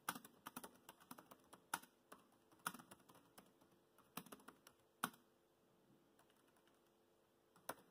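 Fingertips type fast on a laptop keyboard with black plastic keys, producing about 21 short, crisp clicks with bright, quick-dying attacks. The keystrokes come in quick bursts for the first five seconds, then stop before a single final click near the end.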